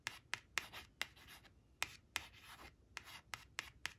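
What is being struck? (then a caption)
Laminated cardstock card. Long acrylic nails trace the number on a thin, flat laminated cardstock flash card printed "5 five," resting on a woven cloth, scratching its glossy surface. Eleven sharp, bright nail clicks stand apart, each followed by a short, dry rubbing scrape, with almost no low end.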